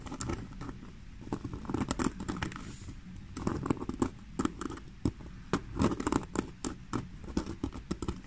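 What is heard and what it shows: Long fingernails scratch the front panel of a black basket-weave faux leather handbag. The result is a quick run of dry, patter-like scratching bursts with an uneven rhythm, mostly low and muffled, each cutting off almost instantly.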